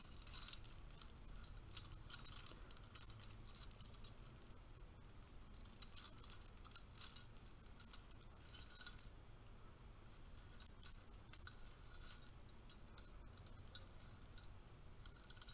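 A stack of bronze-colored metal curtain rings is held in both hands while the fingertips and nails riffle and jangle the rings against each other. Quiet, bright, tinkling metallic clinks come in dense, rapid flurries, thinning out to sparser jingles after about nine seconds. A soft low rumble runs underneath throughout.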